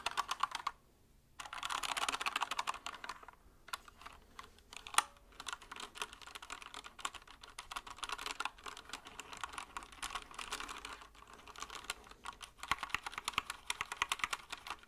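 A compact white mechanical keyboard with plastic keycaps is held close and tilted while fingertips press and tap the keys. Fast, bright plastic clicks and clacks come in dense bursts, with brief pauses, including a near-silent gap early on. Each tap is short and dry with almost no low end.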